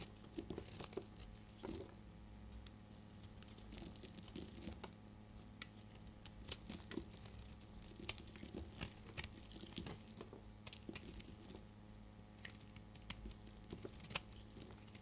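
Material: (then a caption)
Soap. A small metal knife scrapes and carves shavings off the surface of a hand-sized, solid, dry red soap bar held in one hand, and the crumbly flakes fall onto a pile of soap shavings. The result is a quiet, steady run of crisp, bright scraping and crunching ticks with short crackly bursts, over a constant low hum.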